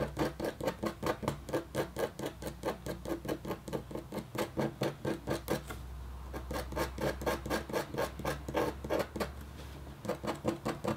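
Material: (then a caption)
Copper foil. A red-handled, metal-tipped stylus scratches a flat, black-coated copper foil scratch art sheet in quick, uneven scratching strokes. Each stroke is a short, dry, raspy rub with a bright edge, over a steady low hum. The strokes pause briefly around the six-second mark and again just before ten seconds, then resume.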